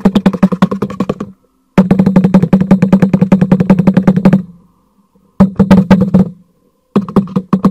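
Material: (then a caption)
Cardboard. A black cardboard product box is held upright and its side is tapped and knocked rapidly with the fingertips. Quick, dry, hollow knocks with a low resonant tone come in four bursts separated by short silences, each knock dying away almost at once.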